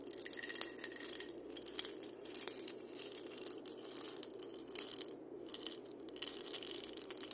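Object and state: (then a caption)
Dried-gourd maraca. A single painted dried-gourd maraca, a hollow gourd held by its wooden handle, is turned while fingers tap and scratch its shell. Close, bright clicks and scratchy rasps come with a light rattle of seeds inside, in quick bursts with a brief pause near the middle.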